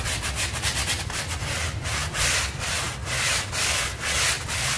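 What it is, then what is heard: Soapy textile rug being scrubbed. A stiff-bristle hand brush is scrubbed in long strokes across a small, dirty pink textile rug covered in soapy foam. Each stroke makes a bright, hissy, scratchy rasp that swells and fades in an uneven rhythm over a faint low rumble.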